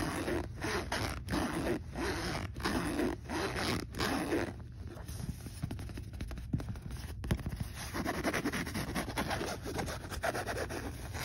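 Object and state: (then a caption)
Backpack zipper being slid. Fingers slide the metal zipper pull back and forth along the pocket of a black polyester fabric backpack with a round logo patch. Quick, repeated raspy zipping strokes come in steady bursts, quieten for a few seconds in the middle, then pick up again.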